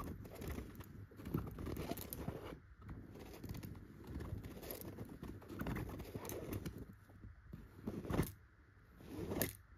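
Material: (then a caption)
Chenille fabric. Clear pointed nail extensions scratch and tap the surface of a yellow chenille dotted pillow. The result is a dense, soft, low-weighted rustling scrape with quick crackly taps. Brief quieter pauses break it up, and a sharper tap stands out near the end.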